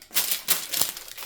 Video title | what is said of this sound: Bauernbrot ohne Sauerteig, Knetfrei, wenig Hefe, Langzeitgare, einfach selbst backen #145 | seulement si ça sonne creux, alors c'est finalement cuit